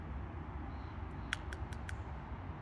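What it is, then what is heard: Bone knife handle. The bone handle scales of a Coke bottle knife, textured from imperfections in the bone, are tapped four times. Each tap is a short, sharp click centered around 1.5 kHz that dies away almost instantly, over a steady low background rumble. The clicks sound hard and textured, in contrast to the plasticky sound of the Rough Ryder Black Appaloosa knife.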